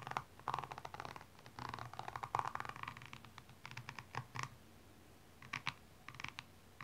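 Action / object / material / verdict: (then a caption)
scrape / rhinestone-covered high heel shoe / rhinestones / none. A slim metallic pink-blue tool scratches along the rhinestone-covered side of a single blue rhinestone stiletto standing upright, while the other hand steadies the shoe. Bursts of gritty, bright scratching rasp against the stones in quick, uneven strokes with short pauses between them.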